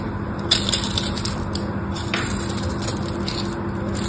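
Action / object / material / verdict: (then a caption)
scrape / bar of soap / soap / none. A small knife scrapes across the scored surface of a solid pink bar of soap held in the hand, crumbling off flakes. Brittle, bright scraping and crackling runs throughout, with sharper crunches near the start and midway over a steady low hum.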